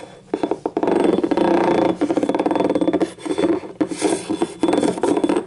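Long nails rub and scratch the labelled bottom and ribbed side of a small, hollow, yellow ribbed ceramic cup. The result is a rapid, rasping, file-like scraping with a ringing mid-pitched tone, coming in bursts separated by brief pauses.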